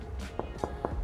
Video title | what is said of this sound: Les maisons abordables sont DE RETOUR à Tampa/St Pete — Moins de 375 000 $, visite complète ! | on entend que ça sonne pas creux